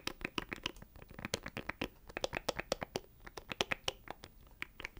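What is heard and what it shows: Fingernails scratch and tap over a small, hollow black plastic audio interface close to the microphone. About thirty quick, dry, bright clicks and taps come in an uneven rhythm, with soft scratchy rustling between them. Each hit stops almost instantly, with very little low end.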